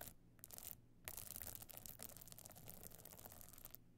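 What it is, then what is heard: Stone-studded evening clutch. Long nails scratch and tap across a small, flat, hollow evening clutch covered in glittering stone and sequin chips with a gold metal frame. The result is a quiet, dense, crackling scrape with bright ticking clicks, broken by short pauses near the start and at the end.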